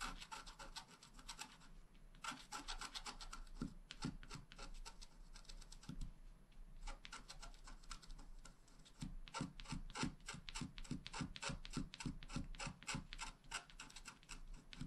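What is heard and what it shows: A wooden stylus scratches rapid, short strokes into a flat black wax-coated scratch art card on a table to make grass blades, while the other hand steadies the card. The result is a quiet, dry, raspy scratching with a bright edge, coming in quick, slightly uneven bursts of strokes with brief pauses between runs.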